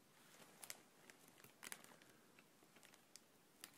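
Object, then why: Thin plastic air cushion packaging bag. A clear, thin plastic air cushion packaging bag with blue print, hollow and loosely filled, is held in both hands and gently squeezed with the fingers. It gives soft, irregular crinkling with a dozen or so bright, brief crackles over a quiet hiss.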